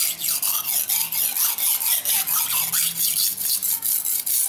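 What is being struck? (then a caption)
Steel knife blade on abrasive whetstone. A steel knife blade is stroked repeatedly across a dark grey solid whetstone resting on the floor, with fingertip pressure on the blade. Each stroke gives a bright, high, rasping scrape, and the strokes follow one another in a steady back-and-forth rhythm with short dips between them.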